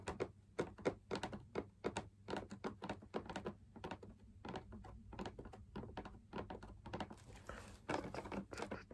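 Fingertips tap along the outer rim of a hollow, perforated, fabric-laminated drum lamp shade. The result is a quick, uneven patter of soft, dull thunks with almost no ring, centered low-mid around 380 Hz over a faint low hum. A brief breathy hiss rises near the end.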